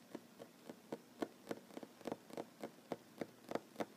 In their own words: Tapping on wooden table, mostly one handed. No talking.